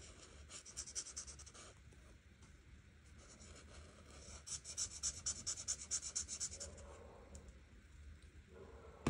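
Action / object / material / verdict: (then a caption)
scrape / marker tip on a paper coloring page / paper / none. A grey art marker tip is stroked across a flat paper coloring book page in short coloring strokes, making a dry, bright, writing-like scratch. The strokes come in two quick, uneven bursts with a quieter stretch of soft rubbing between them, and a sharp tap sounds at the very end.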